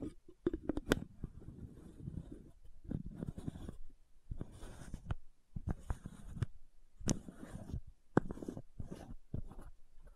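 Long nails scratch the ridged cap of a white plastic supplement bottle held sideways. The result is soft, low, rasping scratches in short bursts, with sharp clicks and taps that end almost instantly.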